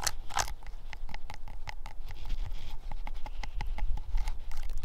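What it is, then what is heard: Decayed wooden stump, rotten. Long fingernails tap and scratch on an old, decayed wooden stump with deep cracks, insect holes and lichen, solid but rotten. A quick run of short, dry, dull taps mixes with rough scratching, each tap dying away almost at once with a low, muffled body.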